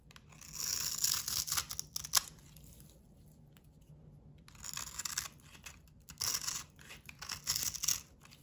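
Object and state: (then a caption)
Bar of soap scraped with a blade. A solid rectangular bar of cream soap coated in blue glitter and red heart sequins is held in one hand and shaved with a box cutter blade, scraping off crumbly shavings. Bright, dry, scratchy rasps come in three bursts, with a quiet pause in the middle.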